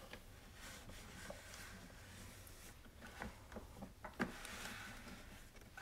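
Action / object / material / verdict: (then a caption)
scrape / plastic coffee maker / plastic / none. A cloth rubs over the spout area and top of a white hollow plastic coffee maker while the other hand holds it steady. The result is a quiet, continuous soft rubbing with a few faint dull knocks from the hollow plastic body, the sharpest near the end.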